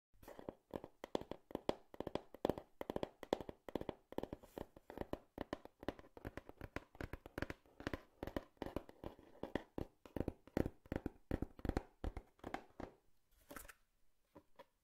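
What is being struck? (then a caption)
Cardboard box. A cardboard box is tapped rapidly with the fingers, giving a steady stream of dull, hollow, short thuds with little ring. Near the end the tapping thins out and a brief scratchy rustle is heard before a few final taps.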